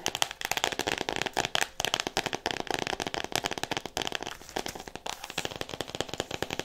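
Long nails rapidly tap and scratch on the cover of a solid "All About Me" hardcover book in clear plastic wrap. The result is a dense, continuous run of crisp, dry clicks and crinkly crackles, bright and high-pitched with almost no low end and no ring.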